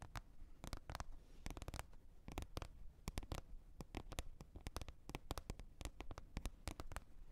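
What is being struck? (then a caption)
Plastic container lid. Long red nails tap on a green plastic container lid in a quick, uneven flurry. Each tap is a short, dry, bright click that stops almost instantly, over a soft low rumble.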